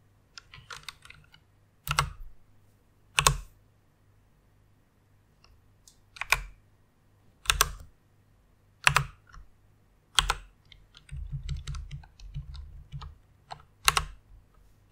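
Both hands with long red nails type on a full-size white mechanical keyboard with plastic keycaps, resting on a pink fur pad with its lighting off. Sharp, bright plastic clacks with a low thump land at uneven intervals, and quieter, quicker runs of key taps fill the gaps between them. Each keystroke is dry and stops almost at once.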